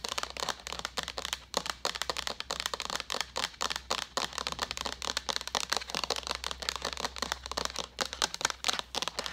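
A hollow white plastic jug with a handle is tapped and scratched with long nails. Rapid, crisp clicks and scratchy bursts follow one another continuously, bright and dry with almost no ring. A faint steady low hum runs underneath.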